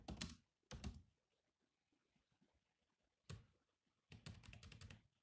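Fingertips of both hands type on the black plastic keys of a grey laptop keyboard. Short bursts of quick, clicky keystrokes with a soft low thud and bright tap are separated by quiet pauses, and the last burst is the longest.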